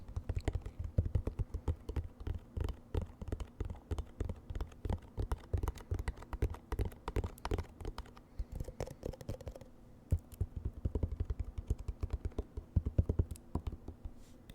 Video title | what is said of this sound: ASMR Eating KFC Mukbang Chicken Tenders, Fries, Macaroni & Pepsi (Whispered Rambling) | You can get quite a range of sounds from a half empty bottle. Just the density of all the ketchup makes it a bit of a thumpier tapping as opposed to a more hollow tapping.